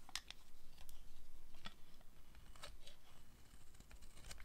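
A metal blade cuts and scrapes shavings from the end and face of a solid, hand-sized pink bar of dry soap. Dry, crisp scraping and crunching strokes repeat at an uneven pace, with short bright crackles that stop almost instantly over a low rumble.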